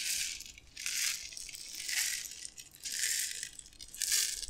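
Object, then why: Glass jar of dry tapioca pearls. A clear glass jar with a gold metal screw lid, mostly full of dry white tapioca pearls, is held in both hands and tilted and shaken so the pearls slide and rattle inside. Five swelling bursts of bright, hissing rattle come roughly once a second, with almost no low end, fading between each tilt.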